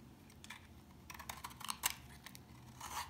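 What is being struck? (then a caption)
Household soap bar cut with a knife. A utility knife cuts and scrapes chunks from the corner of a dry, solid tan brown household soap bar. Short, crisp, bright scraping crackles come in quick bursts, with the sharpest around the middle, over a faint low background.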